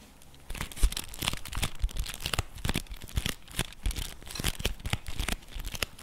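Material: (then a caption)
Cardboard. Fingertips and nails scratch and tap the face and edges of a flat, printed cardboard chocolate bar box held at an angle. After a brief quiet start, dry, papery scratching and crinkling runs continuously, punctuated by quick, sharp taps that stop almost instantly.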